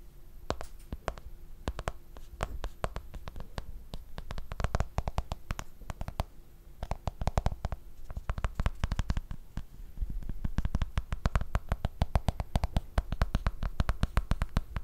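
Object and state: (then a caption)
Smartphone in plastic case. A black smartphone in a plastic case is held upright beside the microphone and tapped on its back and edge with fingertips and nails. The result is a fast, uneven patter of short, dry taps, mostly deep soft thuds with brighter clicky edges. The taps come in busier and quieter stretches over a faint steady hum.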